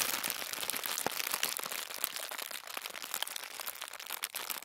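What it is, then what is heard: Crumpled thin tissue paper. Thin white tissue paper, scrunched into a fist-sized ball, is crumpled and squeezed with both hands. The result is a dense, continuous crinkling with sharp, bright crackles and almost no low end, fading slightly softer toward the end.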